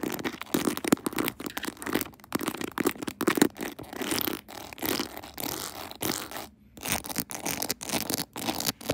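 Long nails scratch and tap across the pearl and rhinestone decorations of a clear plastic phone case mounted on a tripod. The sound is a dense run of bright, dry scratches and quick clicky taps in uneven bursts, with a brief near-silent pause shortly before the end.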